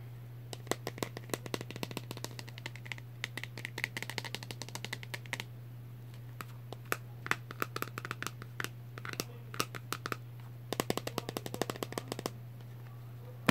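A hand-sized hollow plastic egg with a clear dome and a brown base is held in both hands and tapped with fingertips and nails. Quick bursts of sharp, dry clicking taps come in clusters separated by short pauses, over a steady low hum.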